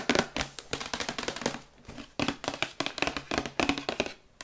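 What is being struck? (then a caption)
Printed cardboard box. Long white acrylic nails rapidly tap the sides of a glossy printed cardboard Yeti microphone box held in the hands. The quick, crisp, bright clicks each carry a short hollow papery thump and die away almost instantly. The tapping pauses briefly midway before resuming in fast bursts.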